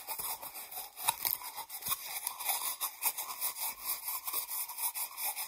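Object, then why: Cardboard tube. Long nails tap and scratch a small, hollow cardboard toilet paper tube, with some fingers inside the tube. The result is quiet, continuous, crisp scratching and light tapping, bright and papery with almost no low end and short, dry impacts.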